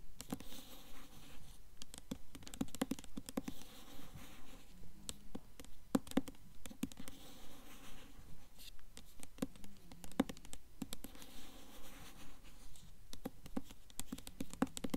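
A Mockingjay hardcover book, held up in both hands, has its glossy paper dust jacket scratched and tapped by long nails. Quiet, rapid, uneven taps with short, dry clicks and almost no ring are mixed with soft scratching, with most of the energy low and muffled.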